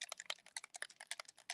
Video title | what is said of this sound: Learning Live - January 31 with Marcie | shake it like a bell side to side until you can hear that ball shaking freely